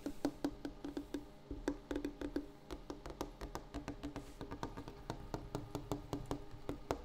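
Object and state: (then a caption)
Wooden table. A wooden table surface is tapped in a quick, uneven series of light knocks over about seven seconds. Each tap is a short, dry, hollow knock with a low-mid tone near 285 Hz that dies away almost at once, with very little bright content.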